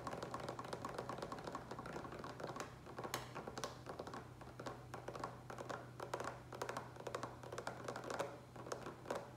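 Fingertips and nails tap rapidly on the sides of a large green plastic water pitcher with a lid, partly filled with water. The result is a dense run of quick, short, dry clicks and taps with bright edges over a steady low hum.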